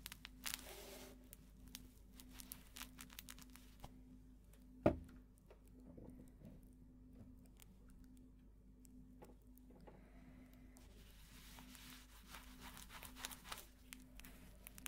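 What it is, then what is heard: Plush toy with crinkle filling. A small, soft, light-blue fabric or fleece cat-shaped plush toy with crinkly filling is squeezed and crumpled with the fingertips of both hands on a felt table, with binaural mics nearby. Quiet crinkling and soft rustling patter over a steady low hum, broken by one sharp, brief crack near the middle. A denser, brighter burst of crinkling follows toward the end.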